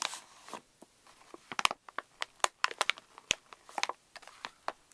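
A pink Reese's candy pouch of plastic foil laminate, laid on a wooden table, is crinkled and pressed flat by fingertips and flat hands. It makes sharp, bright crinkles and crackles in quick, irregular bursts with short gaps between them. There is almost no low end.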